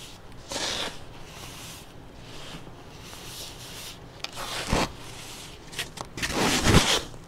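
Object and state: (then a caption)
Baking soda clumps being crushed. Latex-gloved fingers squeeze, crush and rub crumbly clumps of pale pink-tinted baking soda powder packed in a container. Bright, gritty crackles and sharp snaps burst out as the clumps break, with softer rustling in between as loose powder sifts down through the fingers.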